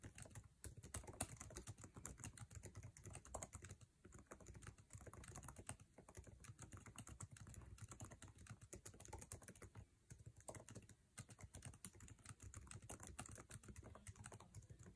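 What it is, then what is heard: Laptop keyboard being typed on. A MacBook Air laptop keyboard with plastic keycaps set in an aluminum chassis is typed on fast by fingertips. The result is a dense, continuous stream of short, dry key clicks with a low thuddy body and faint bright ticks on top.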